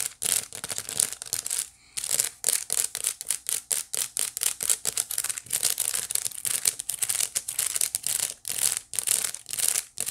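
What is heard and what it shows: Long nails scratch rapidly back and forth across the flat woven face of a small hollow white wicker basket. The result is a dense, dry run of bright, crackly rasps with almost no low end. It pauses briefly near the two-second mark before carrying on.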